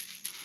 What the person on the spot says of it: they've got a very tinny sound. Hear that? It's a very different sound than other baits.